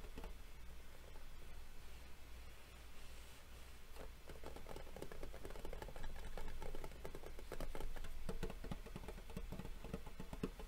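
Fingernails tap quickly and unevenly across the lid of a gold-embossed metal Yu-Gi-Oh collector tin, a hollow rectangular box held at its sides. The taps are short, dry clicks with little ring over a steady low hum, growing slightly louder and denser after the first few seconds.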